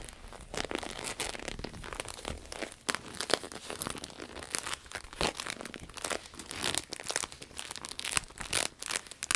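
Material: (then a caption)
Vinyl. A red, glossy, croc-embossed vinyl wallet is flipped and held in the hands, then scratched and squeezed with long acrylic nails. The result is a steady stream of bright, crinkly scratches and crackles with quick, dry transients and very little low end.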